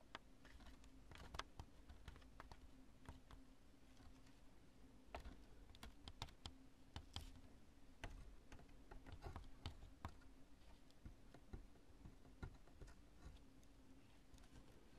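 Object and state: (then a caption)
Cured polyurethane spray foam. Long nails tap and scratch the lobes of a chunk of cured polyurethane construction spray foam. Quiet, sharp, dry clicks and crisp scratchy crackles come in irregular bursts, each dying away almost instantly, over a steady low hum.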